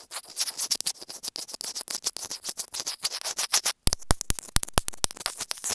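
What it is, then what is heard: Plastic earphone inline microphone being scratched. A small white plastic earphone inline remote/microphone on a thin cable, with a hollow casing, is held in one hand and rubbed and scratched with long grey-painted nails. The sound is a rapid run of crisp, bright scratches and taps. Near the end it turns into sharper, louder clicks that span a wide range, from low thumps to high ticks.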